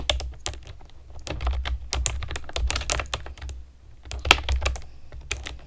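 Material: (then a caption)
Plastic. Long nails and fingertips type on a pastel plastic keyboard with round keycaps, making a quick, uneven run of sharp, bright clicks and clacks that stop almost instantly. A steady low hum sits underneath the typing.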